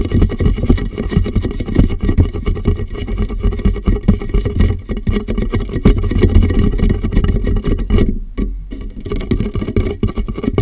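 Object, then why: Plastic water jug. Fingertips tap the sides and base of a large, clear, hollow and empty plastic water jug turned upside down over a microphone. The result is a steady stream of rapid, muffled, boomy thumps that sit mostly in the low range with almost no high end. Around the eighth second the sound briefly dulls further before the tapping resumes.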